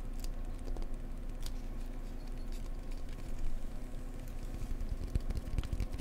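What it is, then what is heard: Cork block tapped. A cork block is tapped gently up close with fingers, giving soft, dull, low taps with almost no ring. The taps sit over a steady low hum and grow slightly more pronounced toward the end.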